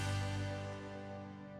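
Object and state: Nothing is struck.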